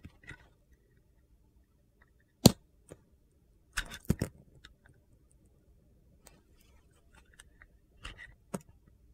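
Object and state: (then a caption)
Bar soap being shaved with a blade. A metal utility knife blade slices and edge-shaves a solid Ivory bar of soap with a gold and blue coating, held in the hand. Four sharp, dry, crunchy cuts stand out with bright edges, separated by quieter gritty scraping and soft ticks. The snaps stop almost instantly with no ring.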